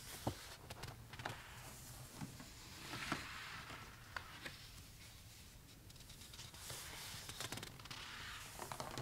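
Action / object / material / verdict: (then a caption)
scrape / paper sketchbook with wire spiral binding / paper / none. Fingertips rub over thick drawing paper bearing pencil drawings in a spiral-bound sketchbook with gold wire binding, and a page is flipped. Quiet, bright papery rubbing and swishing runs throughout, broken by sharp little ticks and crinkles and a louder rustle as the page turns.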